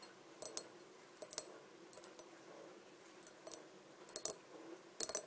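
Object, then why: Small glass bottle. A small empty clear glass bottle on a table is tapped around its body with long dark nails. Quiet, bright, sharp clicks come in small clusters with short silences between them, each tap dying away almost instantly. Some taps carry a faint glassy ring.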